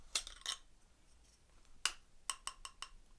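A metal camera lens hood and its lens are handled while being unboxed, giving eight short, bright metallic clinks with a ringing tone near 2.9 kHz. Each clink dies away almost at once, and the quiet gaps between them hold only faint background hiss.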